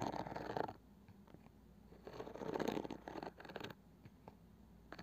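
Long painted nails scratch and tap the light wooden lid of a small round wooden box with a woven cane side, likely hollow. Two stretches of soft, dry scratching alternate with quieter moments and a few short, crisp taps. The sound is close and muted, with little low end and almost no ring after each tap.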